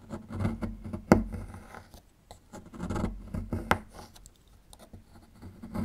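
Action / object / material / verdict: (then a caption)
scrape / plaster block scraped with a small metal tool / plaster / none. A small metal chisel scrapes at a small solid plaster fossil excavation block, breaking off plaster chunks. Soft, dry, uneven scratching comes in short bursts, broken by two sharper cracks as pieces snap away. The sound is muffled and low-to-mid heavy, with very little brightness.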